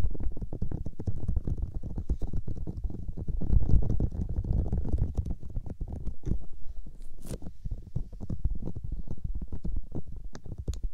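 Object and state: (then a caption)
Silicone microphone ears being rubbed. Fingertips with long nails hold and rub both white silicone microphone ears. The result is a dense, muffled rumbling made of rapid soft scratchy pulses, with almost all its energy deep in the low end and only faint bright ticks on top.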